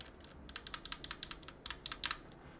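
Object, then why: Plastic keycaps and switches on an aluminum plate. A cotton swab in a gloved hand rubs and scrapes around the exposed switches of a mechanical keyboard with plastic keycaps on an aluminum plate. The result is a quick series of short, bright clicking and scratching ticks, with thirteen distinct hits standing out over a faint low hiss.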